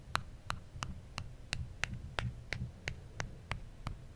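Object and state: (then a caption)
Aluminum phone back. Thirteen light, crisp taps from a fingertip and nail on the aluminum back of an original iPhone held in one hand, arriving in a steady but slightly uneven rhythm of about three per second. Each tap is a sharp, dry click that dies away almost instantly, over a low, constant hum.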